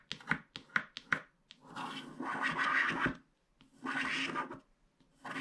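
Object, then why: Wax-coated paper scratch card scraped with a wooden stick. A pointed wooden stick scratches the black wax coating off a small, flat paper scratch art card. A few quick, sharp scrapes come first, then longer, dry, raspy strokes with brief pauses between them, and a new stroke begins at the end.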